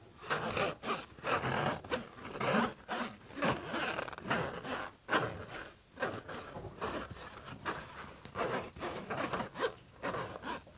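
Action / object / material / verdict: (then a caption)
scrape / laptop lid, metal or plastic shell / unknown / none. Short nails scratch and rub across the surface of a closed silver HP laptop lid. The result is a string of dry, rough scraping strokes with brief pauses between them, each stroke broadband with a steady high hiss on top. A single sharp tick stands out near the end.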